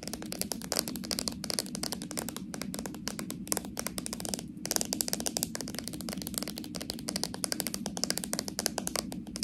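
Long nails tap rapidly on a small, full plastic slime jar, striking both its plastic body and the rim of its metal lid. The sound is a quick, steady stream of dry, bright clicks with very short decay over a soft, constant low-mid bed.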